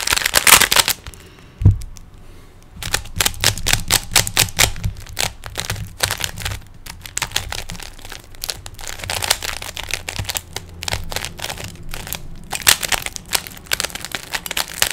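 Fingertips twist the layers of a small, hollow, plastic 3x3 Rubik's cube with stickers. After an opening flurry, a low thump and a brief pause, a steady run of rapid, bright, dry plastic clicks and clacks continues throughout. Each click dies away almost instantly.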